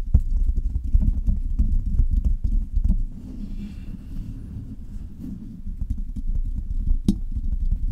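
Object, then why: Metal mesh microphone grille. Long red nails tap rapidly on the hollow metal mesh grille of a silver Blue Yeti microphone, making a fast, uneven clip-clop of deep, boomy thuds. Midway the tapping softens into a quieter, lighter rustle with a faint bright hiss before the quick knocks return, with one sharp, brighter tap near the end.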